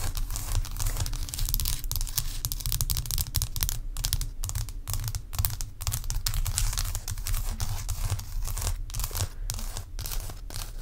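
Long acrylic nails tap and scratch a large solid block of ice resting on a towel. The result is a continuous, dense run of crisp scratching and clicking with a crackly, tearing texture and very short decays over a heavy low rumble.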